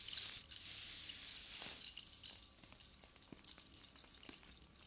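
Long blue fingernails tap, stroke and jiggle the metal cone spikes on a silver spike chain necklace, making them jingle together. A dense, bright metallic shimmer fills the first half, then thins into quieter, scattered high clicks and tinkles with almost no low end.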